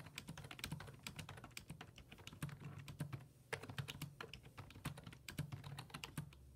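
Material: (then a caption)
Plastic. Fingertips type steadily on the hollow plastic keys of a black plastic full-size computer keyboard resting on a wooden desk. Each keystroke is a quick, dry tap with a bright click that dies away almost instantly, over a steady low hum. The rapid, uneven run of taps pauses briefly around the middle before continuing.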